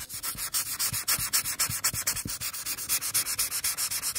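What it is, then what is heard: Paper being coloured with a marker. A felt marker tip is rubbed in steady back-and-forth coloring strokes across the forehead of a drawing on a single thin paper coloring page lying on a table. About 32 quick, bright, hissy scratches come at roughly four per second, each with a faint low thump from the table.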